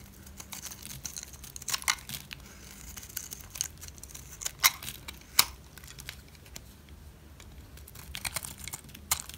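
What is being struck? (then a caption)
Bar of soap cut with a blade. A utility knife shaves and cuts slices into a solid, green, rounded bar of dry soap held by hand. The result is a quiet, dry, crackly scraping that sounds high and bright, with irregular sharp crisp snaps standing out, the loudest at about 1.9, 4.7, 5.4 and 9.2 seconds.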